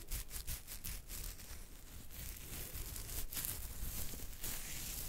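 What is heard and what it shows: Fingertips and nails scratch and rub a thick beard on the chin, moving across the jaw. A steady, rough scratching rustle with a dense low rumble underneath and repeated bright, hissy bursts as the nails drag through the hair.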